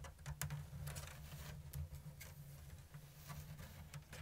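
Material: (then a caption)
Bamboo. Long blue nails tap and scratch a round, hollow basket woven from thin bamboo strips in an open diamond weave. Soft, quick, dry clicks and scratchy brushes sit over a steady low hum, each tap dying away almost at once.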